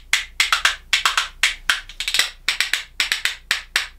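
A pair of small solid katsura-wood percussion spoons, held back-to-back in one hand, is knocked rhythmically against the hand and knee. About twenty sharp, dry, bright wooden clicks come in an uneven, quick rhythm, each dying away almost at once.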